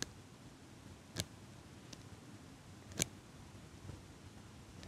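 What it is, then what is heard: Metal eyelash curler clicking. A small metal eyelash curler, held in front of the microphone by fingers with pink nails, has its handles squeezed to make clicking sounds. Brief, sharp, bright clicks, a few louder and others fainter, come at irregular intervals over a steady low hiss with almost no ring after each one.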